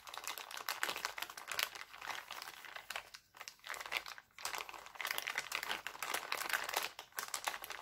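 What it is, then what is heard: Crumpled cellophane plastic bag. Hands twist and crumple a thin, empty, clear cellophane bag printed with hearts, producing dense, bright crinkling with no low end. The crackling runs almost continuously, with two brief quiet gaps around the middle, before the busy crumpling resumes to the end.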